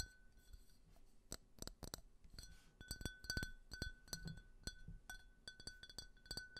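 A small, empty, clear faceted glass tumbler, held in both hands, is tapped with fingernails. The taps come as a quick, irregular run of sharp, bright clinks over a faint, steady glassy ring, and each clink dies away almost at once.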